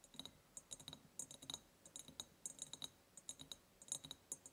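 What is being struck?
Ribbed clear glass jar.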